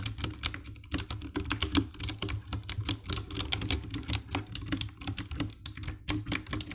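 Fingertips type steadily on the keycaps of a compact 60% black plastic mechanical keyboard with RGB backlight. Each press gives a short, sharp, bright click over a low thock, with almost no ring. The presses come in quick, uneven bursts.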